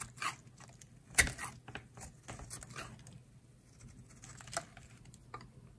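A solid oval pale-green bar of dry soap is held in the hand and carved with a utility knife blade, peeling off thick curls. Short, dry, bright scraping cuts come at an uneven pace, with one sharper, louder cut near the start, over a faint low hum.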